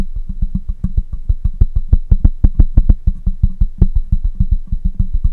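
Fingertips of one hand tap rapidly on the side of a black microphone with a metal mesh grille. The result is a quick, uneven run of short, dry, low thumps at roughly three per second, with almost no ring after each tap. A faint, steady high tone hums underneath throughout.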